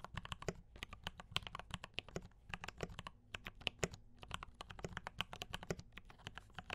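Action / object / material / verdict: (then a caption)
tap / mechanical keyboard with plastic keycaps / plastic / none. A compact D84 mechanical keyboard with brown switches and cream and red plastic keycaps is typed on steadily with the fingertips of both hands. It makes a rapid run of short, dry, clacky keystrokes with bright tops, over a faint steady low hum.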